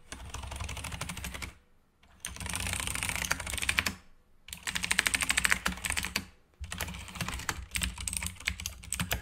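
Fingertips type on a black backlit mechanical keyboard with plastic keycaps, producing rapid, bright, short clicks. The typing comes in four bursts separated by brief pauses, with a steady low hum underneath.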